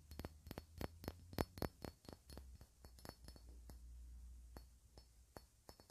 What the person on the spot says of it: Differently depending on where I tap and how I hold it.